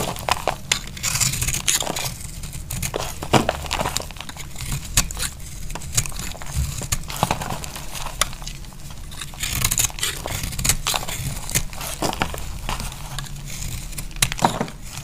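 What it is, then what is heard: Dry soap bar being shaved. A utility knife blade shaves curls off a solid, dry pink soap bar held in the hand. Repeated short, crisp scraping cuts crackle and crinkle with a bright edge over a steady low rumble.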